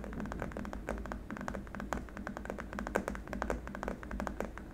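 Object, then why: Hard plastic keyboard wrist rest. Fingertips and nails of both hands tap rapidly, almost like typing, on a long, flat, solid white hard-plastic keyboard wrist rest. The result is a dense run of short, dry clicks that die away almost instantly, over a steady low hum.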